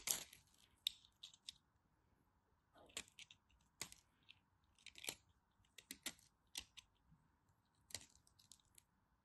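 A knife tip carves a small piece of white bar soap held in the fingers, producing quiet, crisp, bright scraping crunches and clicks in short bursts with pauses between them. A faint steady hiss sits underneath.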